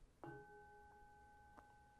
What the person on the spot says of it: this is made from one piece of aluminum. It's got a very nice ring to it.